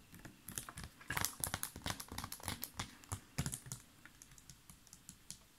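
A large, clear plastic (PET) water bottle with a blue cap and a paper label, mostly full of water, is held up and handled with fingertips and nails, squeezed and tapped so it crinkles. A rapid, irregular stream of quiet, crisp clicks and crackles follows, each short and bright with a soft low thump beneath, trailing off toward the end.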